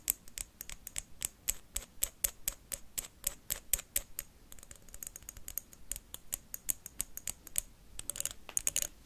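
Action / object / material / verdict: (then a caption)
tap / wax pillar candle tapped with metal paperclips / wax / none. A blue pillar candle of solid wax with a textured surface is tapped and scratched quickly with metal paperclips worn on the fingertips. The taps are sharp, bright clicks with almost no ring, coming in a fast, steady run, with denser scratchy bursts toward the end.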